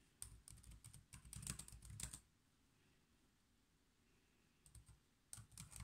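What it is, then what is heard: Plastic laptop keyboard being typed on. Fingertips type on the black plastic keys of a silver laptop keyboard resting on a desk, giving quick, soft clicky taps with a low thud and a bright click edge. A dense burst of typing runs for about two seconds, then a quiet pause, a couple of isolated taps, and another short flurry of keystrokes at the end.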